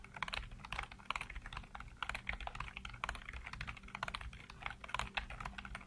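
Fingertips rapidly tap and type on a full-size black plastic computer keyboard with hollow keycaps. The result is a continuous stream of quick, dry plastic clicks with a bright clatter and almost no ring. A faint steady low hum runs underneath.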